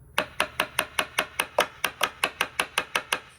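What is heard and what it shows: Sixteen sharp, evenly spaced metallic taps ring briefly in a bright clink on the inner structural steel of a 2009 Ford Focus SE rocker panel, next to a rust hole in the outer panel. The inner portion sounds solid and free of rust.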